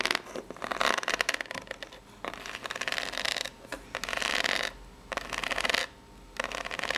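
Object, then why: Corrugated cardboard box. Long natural nails tap and scratch the ribbed top of a small, hollow brown corrugated cardboard box. Bright, raspy bursts of scratching alternate with short quieter pauses, with little low-end body.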